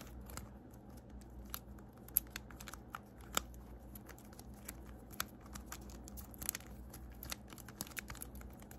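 A small blue plastic infinity cube fidget toy is flipped and folded by hand, its segments clicking and fingernails tapping on it. Short, bright clicks and taps land at an irregular pace over a soft, steady low hum. The sounds are quiet and dry, with no ring after each click.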